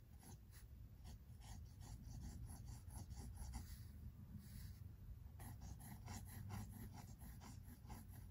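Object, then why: Pencil lead on drawing paper. A pink mechanical pencil is rubbed repeatedly across white drawing paper in a spiral-bound sketchbook resting on a table, making shading strokes. Quiet, rhythmic scratching strokes sound over a low, steady rumble, with a brief lull midway before the strokes resume.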